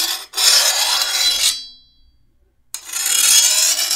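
A hand-held steel file is drawn along the edge of a long, thin, solid steel machete blade, producing bright, harsh rasping scrapes. A brief stroke is followed by a long one that leaves the blade ringing with high tones as it fades. After about a second of silence, another long stroke follows.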